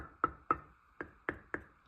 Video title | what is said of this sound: I Made Cherry Compote - Here Is How - My Recipe Is With Essential Oils | I listen for a hollow sound. Like this one sounds a little hollower